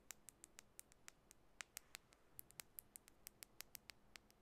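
Long bare natural nails tap a small clear glass nail lacquer bottle, partly filled with clear liquid, held between the hands. The result is a quiet, irregular series of short, bright, sharp ticks that die away almost instantly, over a faint low background hum.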